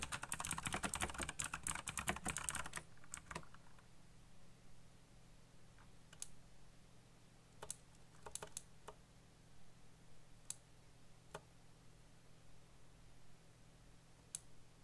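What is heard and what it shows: A black backlit mechanical computer keyboard with plastic keycaps is typed on by fingertips at a slower pace. A dense burst of clicky key presses comes first, then it thins to scattered, isolated clicks over a low steady hum.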